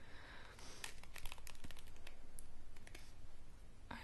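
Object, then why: Wooden paddle hairbrush with bristles. Long painted fingernails scratch and flick across the dense dark bristles and pins of a handheld wooden paddle hairbrush. The result is a rapid, irregular series of crisp, bright clicks and scratchy rustles that die away almost instantly, over a faint low rumble.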